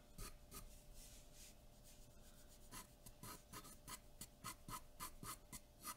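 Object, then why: Graphite pencil on a sheet of drawing paper. A graphite pencil makes dense, short shading strokes on a large sheet of white drawing paper taped flat to a dark board. Each stroke gives a rapid, bright scratch, growing quicker and more distinct in the second half over a faint steady tone near 600 Hz.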